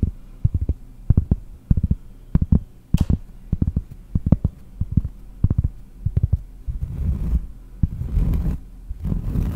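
Long nails tap on a large, round, solid cork trivet held close in front of the microphone, giving a rapid, uneven series of dull, deep thuds with almost no ring. Toward the end the nails switch to scratching the cork, turning the taps into a continuous, breathy rasp.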